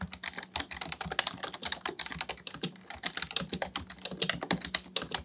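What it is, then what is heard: Plastic computer keyboard being typed on. Both hands type continuously with their fingertips on a black plastic Dell full-size keyboard resting on a desk. The result is a rapid, uneven stream of short, bright plastic clicks and clacks that stop dead, over a faint steady low hum.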